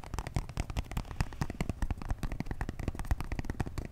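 A small, hollow, purple printed cardboard box holding a makeup brush set is held in both hands and tapped and scratched with fingertips and short nails. A rapid, continuous run of soft, dull taps is heard, mostly low and thumpy with brief scratchy clicks on top. Each tap dies away almost instantly.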